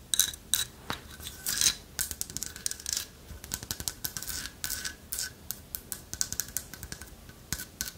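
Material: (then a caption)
Wood. A light wood carved owl figurine with a hollow lattice body, held in one hand, is scratched and tapped with long nails. Rapid, dry scratches and crisp clicky taps sound bright and thin, with almost no low end, and each tap dies away almost instantly.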